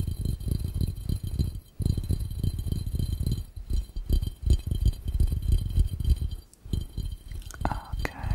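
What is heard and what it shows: Fingertips of both hands tap rapidly on the round glass base of a clear, empty glass fishbowl. The result is a dense stream of dull, low knocks with almost no ring, broken by two brief pauses. A brighter, faint clink closes the clip.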